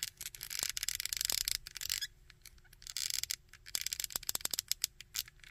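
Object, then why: Small plastic action figure. Fingernails scratch and tap the sculpted coat and belt of a small plastic Red Skull action figure. Bright, hissing scrapes come in bursts, separated by quiet gaps. Toward the end come a run of quick, dry clicking taps.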